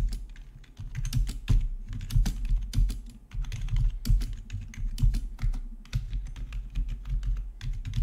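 A full-size black plastic RGB membrane gaming keyboard with rainbow backlit keycaps, resting on a marble surface, is typed on quickly with the fingertips of both hands. The result is a steady, irregular stream of soft, dull key clicks with a deep thudding body and brief bright ticks, pausing only briefly.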